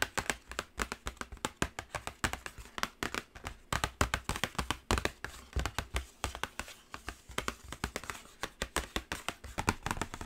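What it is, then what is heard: Cardboard palette box tapped with fingernails. Long acrylic nails tap rapidly and continuously on the top edge and lid of a black cardboard Carnival eyeshadow palette box. Dozens of short, dry taps each combine a low thump with a bright click, dying away almost instantly in an uneven but steady rhythm.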